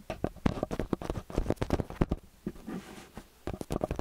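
Fingertips and nails tap and scratch the two metal mesh capsule heads of a small handheld X/Y stereo microphone with a metal body, resting on a white roll. Quick, dull, muffled taps patter in close succession, with a softer, rustling scratch through the middle before the tapping picks up again. The sound stays low and thumpy, with very little brightness.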